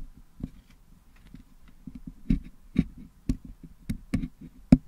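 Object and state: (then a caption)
Putty-filled metal microphone grille. A single wooden toothpick scratches and picks at the metal mesh grille of a Blue Yeti microphone head, held in one hand, to clean out green, red and yellow putty packed into it. Soft, low scraping and dull tapping run throughout, broken by eight sharper, brighter clicks that stop almost instantly.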